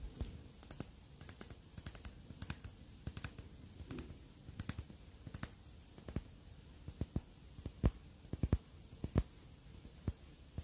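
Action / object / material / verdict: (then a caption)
tap / glass perfume bottle / glass / none. Long dark-painted fingernails tap and scratch a square, hand-sized black glass Guerlain L'Homme Idéal L'Intense perfume bottle with a black cap, which appears filled and heavy. About 25 short, sharp, dry clicks stand out over a soft, low scratchy bed, with some taps bright and crisp and others duller. The clicks end instantly with no ring.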